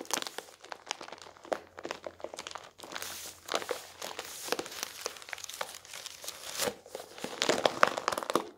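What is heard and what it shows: A rolled-up newsprint newspaper is squeezed in both hands over an open newspaper on a wooden table, with fingers pressing, rubbing and crinkling the paper roll. The result is dense, dry crackling and crunching in quick, irregular bursts with almost no low end and a bright, papery hiss. The sharpest crinkles come near the end.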